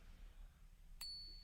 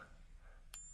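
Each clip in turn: First: genuine silver bullion coin. Second: copper-nickel coin, not silver.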